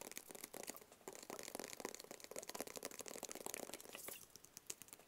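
Long fingernails tap rapidly on a flat black cardboard gift box with printed lettering on its face, held close to the face. The result is quiet, dry, bright clicks that stop almost instantly, with almost no low end and a light crinkly texture between the taps.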